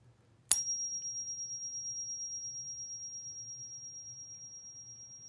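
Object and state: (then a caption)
Genuine gold bullion coin. A 2020 quarter-ounce American Gold Eagle coin is pinged once, giving a sharp strike followed by a pure, high tuning-fork-like ring with a fainter, higher overtone. The ring sustains and slowly fades with a gentle wavering through the rest of the clip, the sound of a real gold coin.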